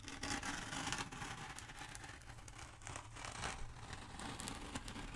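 Long nails scratch and tap the surface of a long, black, hollow foam pool noodle held upright close by. The result is a steady, quiet run of dry, crinkly scraping and soft tapping, with brief bright squeaks over a faint low rumble.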